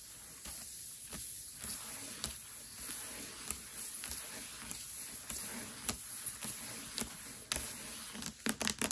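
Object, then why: Hardcover book with paper dust jacket. Long nails of both hands tap quickly on the front cover of a Mistborn hardcover book lying flat, its glossy paper dust jacket under the fingers. Short, bright clicks with almost no ring sit over a soft, hissy bed, growing into a faster flurry of sharp taps at the end.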